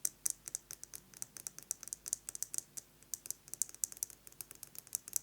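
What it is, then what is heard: Metal lipstick case. A metal lipstick case is tapped rapidly with fingernails, producing about 32 quick, quiet, bright clicks. The taps are sharp, high-pitched and dry, stopping instantly with no ring or low-end body.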